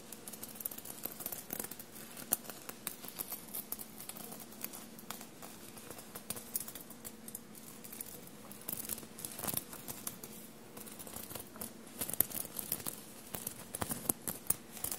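Short blue-painted nails scratch and rub a dark blue soft fabric shirt bunched on a table and covered in small silver paillette studs. Quiet, dense, crisp scratching carries many sharp, bright clicks and ticks over a faint steady low hum.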